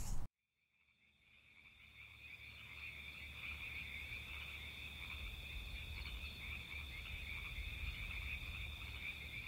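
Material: Nothing is struck.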